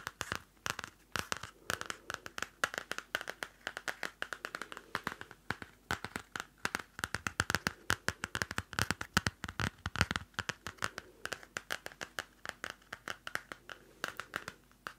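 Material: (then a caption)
Paper. A small pink pad of paper sticky notes, a solid block held in the hand, is tapped and scratched on its top and edges with long nails. The result is a rapid, steady stream of dry, crisp clicks and taps with papery scratching between them, each hit dying away almost instantly with no ring.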